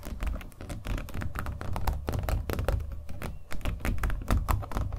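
A small acrylic-painted stretched canvas on a hollow wooden frame is held up and tapped rapidly with fingernails. The result is a quick, uneven stream of soft, hollow, drum-like taps with a deep, boomy low end and very short decay.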